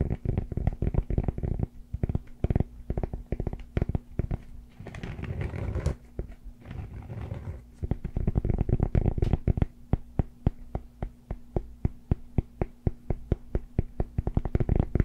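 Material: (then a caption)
Cork. Fingertips and short nails of both hands scratch and tap the granular face of a rectangular solid cork yoga block held upright. Rapid, dry, muffled taps with very short decay run throughout, broken around the middle by a stretch of softer, continuous scratching before the tapping resumes.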